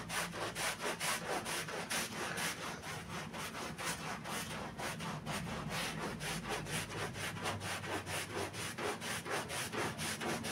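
A gloved hand scrubs a wet black-and-red pile rug covered in soap foam with a handheld stiff bristle brush. Steady back-and-forth strokes, about two per second, make a bright, rasping, wet bristle scratch that keeps a fairly even rhythm throughout.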